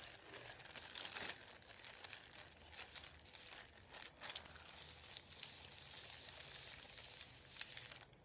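Fingertips rub and tap a thin white printed paper sheet lying on a wooden table. Dry, bright crinkling and rustling continue throughout, broken by short taps and swells of scraping friction.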